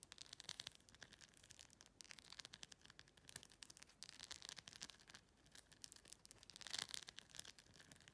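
Long pink-red nails rapidly tap and scratch the large acrylic rhinestones covering a clear plastic phone case. The result is a quiet, dense stream of bright, dry clicks and scratchy rubbing, almost entirely high-pitched with very little low end. There is a brief lull around five seconds and a louder, brighter burst near seven seconds.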